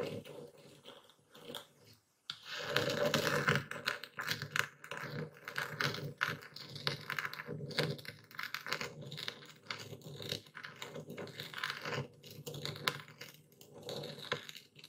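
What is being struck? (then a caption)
Coarse epsom salt crystals in a wooden bowl, crushed with a stone pestle. A dark speckled stone pestle crushes and grinds coarse white Epsom salt in a full wooden bowl steadied by one hand. After a quiet first two seconds, a dense, irregular stream of sharp, gritty crunches and crackles sets in, bright and dry with little ring, continuing through the clip with brief dips between bursts.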